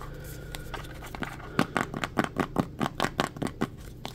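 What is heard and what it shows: Fingertips and nails tap and scratch on the blue ribbed plastic lid and sides of a translucent plastic petroleum jelly jar full of jelly. A few faint taps over a low background hum give way, after about a second and a half, to a quick, irregular run of sharp, dry plastic clicks with short scratchy textures. Each tap dies out almost instantly.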